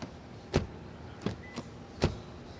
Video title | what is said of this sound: Lexus LS REVIEW Premiere all-new gen 2017/2018 neu - Autogefühl | Let's do a famous auto door closing test. That sounds solid.